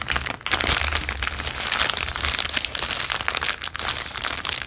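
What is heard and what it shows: A thin, empty, transparent plastic bag is held and crinkled with the fingertips. It makes a continuous stream of dense, bright crackling and rustling, with little low end.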